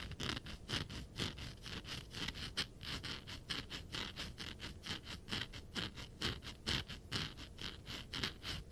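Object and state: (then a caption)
Glitter-coated vinyl figure with a rough surface. A glitter-covered vinyl Funko Pop figure of Silver the Hedgehog, a "diamond" edition, is scratched with rapid, uneven strokes across its rough surface. Each stroke gives a short, bright, gritty rasp with a steady tone near 3.2 kHz over a faint low rumble. Its textured coating makes it sound rougher and quite different from smooth figures.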